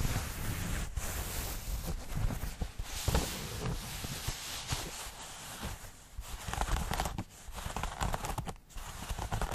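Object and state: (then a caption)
Denim jeans fabric. Fingernails and fingertips scratch and crumple light-wash denim jeans held close to the microphone, the flexible cloth and its seams rubbing together. The result is a continuous, dense scratching and rustling with a heavy low, close-up rumble, a bright hiss on top, and brief louder scrapes throughout.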